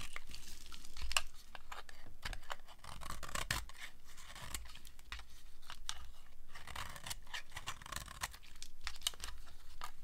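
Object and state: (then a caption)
Dry soap bar being scraped. A steel blade scrapes thin slivers off the face of a solid, dry green soap bar. A steady run of dry, crisp scraping and shaving strokes is heard, with bright crackling flecks over a soft low rumble. The strokes stay closely spaced and fairly even throughout.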